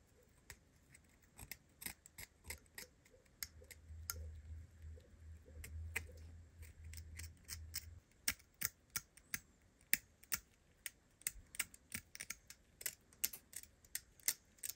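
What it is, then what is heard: Corroded metal filigree perfume bottle. A steel scalpel blade scrapes at a small antique perfume bottle with an openwork metal filigree casing heavily crusted with corrosion and patina, held in gloved hands. Short, dry, bright scratches and clicks come in a steady series with almost no ring. A low rumble sits underneath them midway through.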